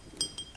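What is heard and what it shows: A 33 cl glass bottle of blonde Belgian beer is tapped, giving two short, bright glass clinks with a high, thin ring that fades almost at once over a quiet background.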